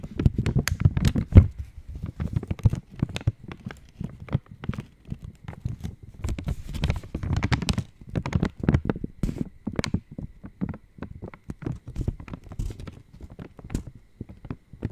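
An opened purple Cadbury Dairy Milk Silk chocolate wrapper of foil-lined, metallized plastic is held in both hands and tapped with long nails. The result is a steady run of quick, short crinkling taps and crackles, with a low, thumpy body and faint bright edges.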